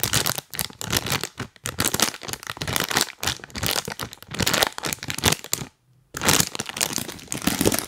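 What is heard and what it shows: A full, printed plastic cookie bag is rubbed and tapped with rubber toy hands, producing bright, crisp crinkling in a rapid run of rustling bursts. The crackling pauses briefly for about half a second near the six-second mark, then resumes.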